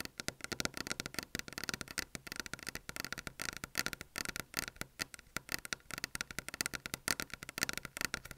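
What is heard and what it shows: Long fingernails of both hands rapidly tap and lightly scratch a flat, solid white desk top, recorded by an Apple earphone mic lying on the desk. Dozens of crisp, bright clicks with no ring patter in an uneven rhythm, with faint scratchy texture between them.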